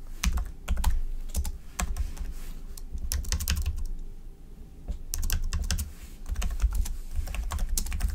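Fingertips of both hands type on a slim black plastic keyboard resting on a white desk surface. A fast, irregular stream of short key taps gives soft low thumps with bright clicks on top, easing briefly just past the midpoint before picking back up.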